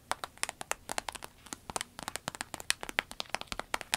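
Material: Vinyl.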